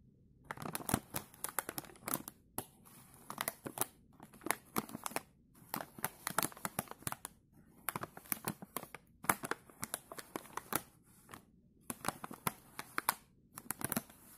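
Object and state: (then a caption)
Plastic snack bag. A filled, puffy green printed plastic snack bag is pressed, scratched and crinkled by gloved fingertips. Its surface gives bursts of sharp, bright crackling in dense clusters, broken by short quiet gaps.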